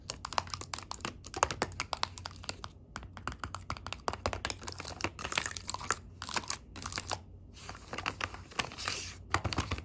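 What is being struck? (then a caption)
Small round metal tea tins with clear plastic window lids. Long pink acrylic nails tap the clear window lids of small round gold metal tins filled with loose tea, set in a yellow cardboard tray as part of a tea sampler box. Rapid, bright, clicky taps with a faint crinkly texture come in quick bursts, each dying away almost at once, with a few brief pauses between runs.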